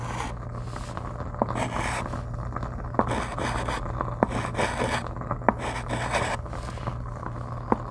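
A white chalk stick is drawn across a flat dark chalkboard in writing and scraping strokes, with a small clip-on microphone held still against the board. Bursts of raspy, bright scratching come and go, punctuated by a few sharp, short clicks of the chalk striking the surface. A steady low hum runs underneath throughout.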